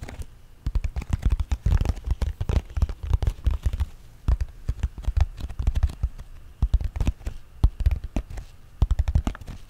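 Fingertips and nails tap rapidly on the faces of a small, hollow, apparently sealed printed cardboard LEGO Friends set box held up in both hands. The taps are dull, low thumps that come in quick, irregular bursts with brief pauses, each dying away almost instantly. The sound has no bright edge.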